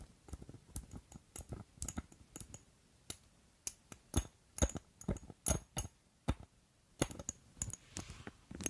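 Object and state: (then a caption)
Gold metal and glass perfume bottle. Long nails tap and scratch the gold filigree metal overlay and gold stopper of an ornate glass perfume bottle close to the mic. About thirty short, crisp clicks fall in an irregular rhythm, each with a bright, high metallic tick and almost no ring. Softer scratching fills the gaps between them.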